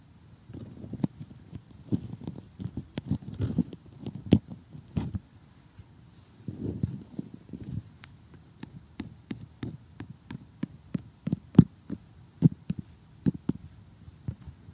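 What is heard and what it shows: Metal tweezer tips poke and scratch cardboard jigsaw puzzle pieces while short nails hold them. The result is a steady run of crisp, dry clicks and taps over soft, crunchy scratching, with each hit dying away almost at once. Bursts of rustling scratches come around the second and seventh seconds, between sparser, sharper ticks.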